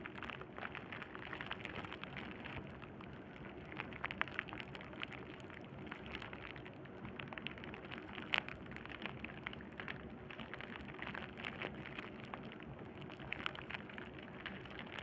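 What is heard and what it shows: Fingertips of both hands press, scratch and pop the hollow air cells of a clear plastic bubble wrap sheet over and over. A steady, quiet, dense crackle of bright snaps and rustling fills the clip, with a few sharper, louder pops standing out now and then.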